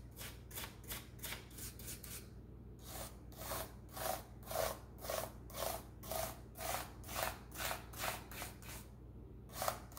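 A toothbrush with a wooden or bamboo handle, held in a gloved hand, scrubs back and forth over the keys of a black plastic laptop keyboard. Quick bristly strokes open the clip, then after a short pause come steady, evenly spaced swishes with a faint clicky tone, over a constant low hum. The clip ends with one louder stroke after a brief gap.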